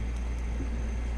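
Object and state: Nothing is struck.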